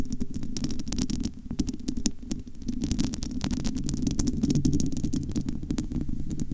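Long almond-shaped nails scratch and tap quickly across the bare, domed metal wire-mesh grille of a large, hollow studio microphone. The result is a dense stream of crisp clicks and scraping ticks over a deep, hollow, rumbling body sound that swells and dips throughout.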